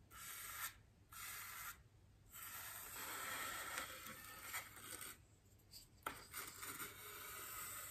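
The bristles of a small paintbrush brush across a large, white, solid styrofoam wreath ring resting on a table. Soft, dry, scratchy rubbing comes in sustained strokes with brief quiet pauses between them. A bright, hissy texture and occasional light ticks run through the strokes.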